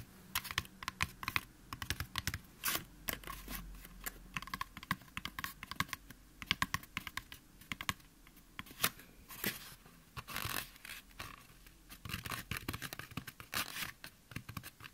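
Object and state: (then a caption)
Styrofoam mannequin head. Fingertips and nails of both hands quickly tap and scratch the top of a white, life-size, solid styrofoam mannequin head. The result is a fast, uneven stream of dry, bright clicks and scratchy rustles, each dying away almost instantly with no ring.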